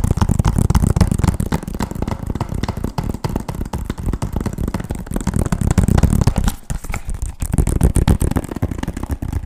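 Quick fingertip and nail tapping on the front and edges of a hollow, hard-plastic PS3 game case with a paper insert. The result is a fast, uneven stream of dry, hollow taps, mostly low and thuddy with light clicky edges and almost no ring. A brief quieter stretch comes just after the middle.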